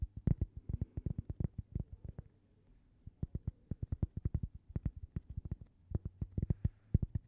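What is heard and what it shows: A thin, toast-shaped cork coaster with a logo, held in both hands, is tapped and scratched with long purple nails. Quiet, quick, dull taps come in dense bursts, deep and soft with almost no bright edge, each dying out at once. A short gap of faint scratching breaks the tapping partway through.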